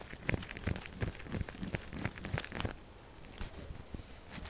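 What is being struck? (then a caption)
Bar of soap. A solid purple soap bar standing on a table is scratched quickly and aggressively with long acrylic nails, the textured surface giving off dry, crinkly scraping strokes with bright crackle. The strokes come in uneven bursts for the first half, then ease into a softer, quieter rasp.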